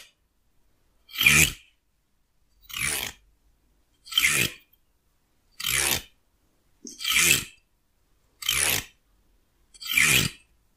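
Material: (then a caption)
Wood. A fingernail strums and scratches along the teeth of a solid wooden hair comb held in one hand, in seven separate bursts spaced about a second and a half apart. Each stroke is a short, bright, raspy scrape with a faint low thud at its base, separated by silence.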